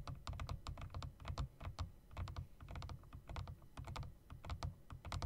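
A typewriter-style mechanical keyboard with round plastic keycaps and metal rims is typed on: fingertips rapidly tap the spacebar, then the keys with long nails. The result is a dense, fast run of sharp clicks with a heavy low thump under each stroke, each dying away almost at once.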